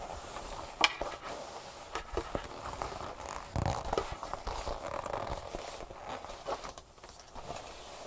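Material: Leather.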